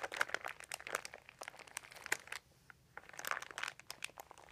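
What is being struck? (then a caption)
Thin plastic sheet. Fingertips of both hands rub and crinkle a large, thin, crumpled white plastic sheet resting on carpet. The result is quiet, dense, bright crinkling and crackling in quick irregular bursts, with a short near-silent pause just past the midpoint before the crinkling resumes.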